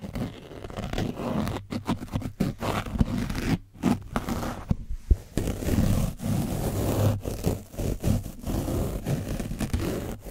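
A foam brush scrapes across the top and side of an orange foam microphone windscreen coated with dried paint. The result is a dense, muffled scratching and rustling, heavy in the low end, with a few brief pauses between strokes.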